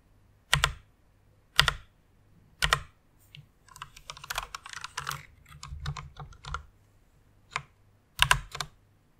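Both hands with long nails type on a full-size white mechanical keyboard with plastic keycaps, resting on a pink fur pad. A few separate bright, sharp key clacks with a low thock give way to a quick, uneven run of typing in the middle. A few more single strokes follow near the end.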